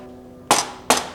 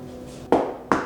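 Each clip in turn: First: plastic lap desk, not real wood. Second: loose particle board lap desk.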